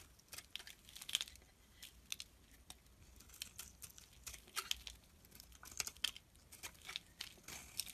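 A metal blade repeatedly scrapes thin shavings off the face of a solid mauve bar of soap held in the hand. The result is a quick series of short, crisp, bright scratching strokes with crinkly, crunchy textures, dry with no ring, and almost no low end.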